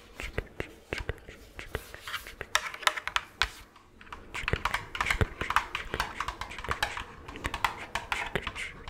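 Long claw-like nails on gloved hands tap rapidly across an orange, hollow, medium-sized plastic jack-o'-lantern candy bucket that appears empty. The sound is a flurry of sharp, bright, clicky taps with very short decay, briefly pausing near the middle before picking up again.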